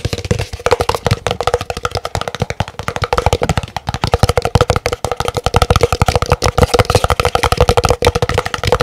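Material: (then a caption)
Paper. A large, empty, hollow white printed paper cup is held up with its opening facing outward and tapped very rapidly with fingernails. The result is a fast, continuous stream of short, dry, hollow clicks and thuds with a steady resonant tone near 500 Hz, each tap dying away almost instantly.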